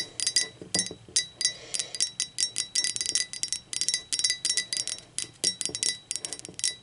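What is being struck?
Ceramic mug.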